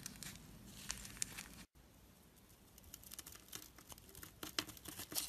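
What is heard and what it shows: A black blade scrapes and shaves thin flakes off the surface of a solid, palm-sized orange bar of bath soap held in the hand. It makes soft, bright, crinkly scratching with short sharp ticks. A brief silent gap comes just before the two-second mark, and the scraping grows busier toward the end.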